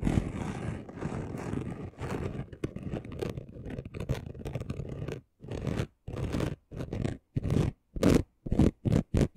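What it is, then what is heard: Chunky gold glitter sheet. Short nails scratch the rough surface of a flat, chunky gold glitter craft sheet. A dense, gritty scratching runs continuously for about five seconds, then breaks into about seven short, separate strokes with silence between them. The texture is rough and low-heavy, with a faint high edge.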